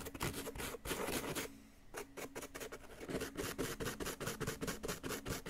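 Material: Plaster.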